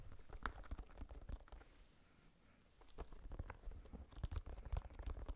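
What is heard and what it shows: A small red spiky rubber massage ball, held in the hands, is scratched and tapped with long nails and fingertips. The result is a quiet series of soft, crunchy scratches and dull taps with a low, muffled body. The sounds thin out to a near-silent lull in the middle before picking up again.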